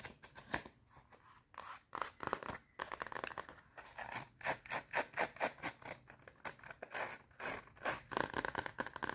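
Long red nails scratch and tap the cardboard cover of a small clapperboard-design spiral notepad with metal spiral binding and a solid stack of paper. The result is a quick, irregular run of dry, papery scratches and light taps with no ring, mostly in the low-mid to mid range.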